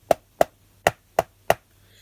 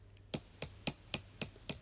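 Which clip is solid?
The first.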